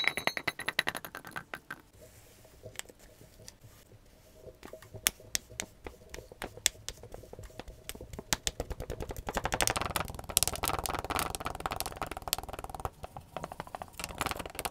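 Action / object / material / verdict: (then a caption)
scrape / kinetic sand in a glass mug / kinetic sand / none. Pink kinetic sand balls in a clear glass mug, held by a gloved hand, are pressed and crushed down with a black tamper tool to pack the sand. Rapid, dry, bright crackling and crunching clicks run throughout, quieter from about 2 to 4 seconds and then denser and louder from around 9.5 seconds on.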